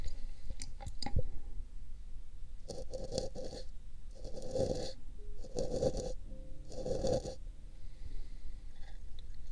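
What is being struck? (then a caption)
Paper cup. An empty pink paper cup fitted over a binaural microphone ear is scratched and brushed with a thin brush held in the fingers. A few sharp ticks open the clip, then five bursts of dry, raspy brushing with a steady mid-range tone sweep in and out, ending in quieter scratches.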